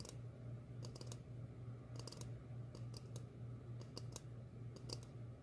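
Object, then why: Upturned ceramic bowl. Long fingernails tap on an empty, hollow, medium glossy red ceramic bowl held upside down. The taps come as short, bright clicks in quick, irregular bursts over a steady low hum.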